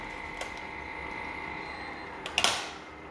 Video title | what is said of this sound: EP13. BATTERED TOFISH | look at how crispy that is just listen